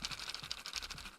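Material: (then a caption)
Plastic, crackers. A snack bag of goldfish crackers is shaken close up, giving a quick, bright crinkling rattle of crackers against the bag. The sound comes in dense, overlapping bursts across the whole second, then fades out.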